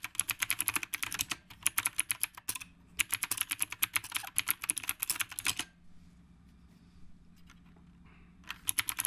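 Fingertips on both hands type continuously on a black retro typewriter-style mechanical keyboard with round plastic keycaps. Rapid, bright, sharp clicks come in dense bursts that stop for a near-silent pause of about three seconds before typing resumes at the end.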